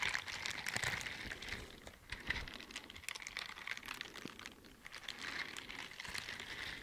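A pair of teal silicone scrubber gloves with bristle pads on the palms and fingers, worn on both hands, has its bristles rubbed and scratched against each other close to the microphone. The result is a dense, bright, crackling scratch with many tiny ticks, centered around 2 kHz. It rises and falls in steady waves with little low end.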